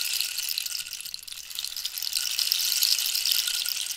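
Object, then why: Dried cactus rainstick with loose filling. A large, hollow, dried-cactus wooden rainstick is held diagonally at the fingertips and tilted so the filling inside pours down through it. This makes a steady, bright, rain-like patter of tiny rattling grains with almost no low end. The patter thins slightly around the first second, then swells louder and denser toward the end.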